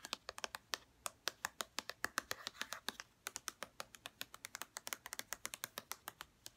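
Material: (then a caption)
Plastic. Long red-painted nails tap quickly along the label and edges of a white plastic lotion bottle, making about 45 crisp, dry clicks. The taps are bright, with almost no low end, and each stops at once with no ringing. The uneven rhythm comes in quick bursts, with a brief pause near the middle.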